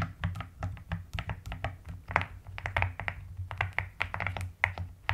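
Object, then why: Plastic mechanical keyboard. Both hands type steadily with fingertips and long nails on a white-cased mechanical keyboard with pink and lilac plastic keycaps. About 25 quick, dry keystrokes are heard, each pairing a low thock with a bright plastic click that stops almost instantly.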